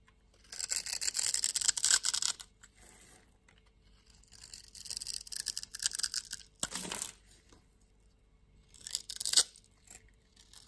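A palm-sized solid blue bar of soap, held in the hand, is scraped and carved with a metal utility-knife blade as shavings fall off. Four bursts of dry, bright, hissy scraping are heard, separated by near-silent pauses, with almost no low end.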